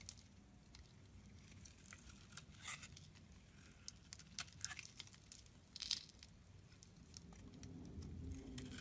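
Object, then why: Bar of soap cut with a metal blade. A metal utility knife blade shaves curls from the edges and face of a solid rectangular blue soap bar held in the palm. It makes quiet, crisp, bright scraping and crackling cuts, with a few sharper strokes standing out over a soft low rumble that grows slightly toward the end.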